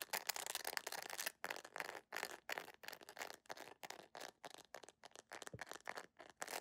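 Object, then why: Rubbery plastic sandal sole. A beige jelly plastic sandal with a flat, solid, rubbery sole is held up close and scratched rapidly with long nails. Fast bursts of dry, bright scraping come in quick rhythmic strokes, separated by brief silences, with almost no low end.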